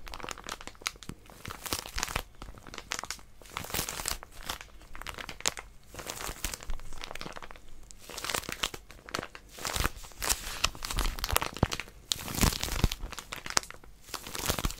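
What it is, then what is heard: Plastic-wrapped paper packet being squeezed. Long nails grip, scratch and squeeze a small white plastic-wrapped paper packet with a pink outline. Dense, irregular crinkling and crunching bursts rise and fall in quick waves. The bright crackles are broken by brief quieter gaps.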